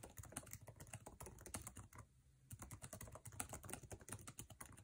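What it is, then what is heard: Laptop keyboard typing. Fingertips tap fast on the plastic keycaps of a MacBook Air laptop keyboard set in an aluminum chassis. A rapid stream of short, crisp clacks with a low thud under each press, broken by a brief pause near the middle before the fast typing resumes.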